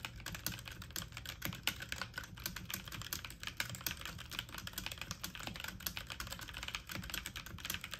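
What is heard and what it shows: Fast typing on a full-size backlit mechanical computer keyboard with plastic keycaps, the keys pressed quickly with fingertips and medium-length nails. A rapid, steady stream of short, bright plastic clicks and clacks with a light low thud beneath, each tap dying away almost at once.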